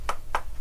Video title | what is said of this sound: Acoustic Steel - the Basics | makes the steel sound like wood